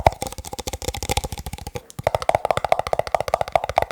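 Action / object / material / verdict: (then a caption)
tap / plastic cups / plastic / none. Fast fingertip tapping on plastic cups gives a rapid run of crisp, hollow clicks with a short, dry ring. A brief pause near the middle splits the run, and after it the taps come back slightly louder and more pitched.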